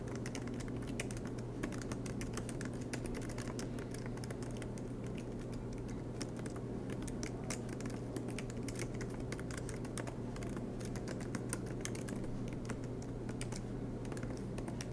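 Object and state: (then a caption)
Laptop keyboard typing. Fingertips type steadily on a silver MacBook Pro with black plastic keycaps on an aluminum body, lying flat on a desk mat. The result is a continuous stream of soft, quiet key clicks over a steady low hum.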